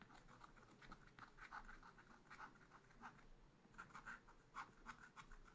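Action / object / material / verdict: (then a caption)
scrape / black-coated scratch art paper card scraped with a wooden stylus / coated paper / none. A wooden stylus scratches near the bottom edge of a small black-coated scratch art paper card. It makes a quiet run of short, dry, papery scratching strokes concentrated around the midrange, with a soft low hiss underneath.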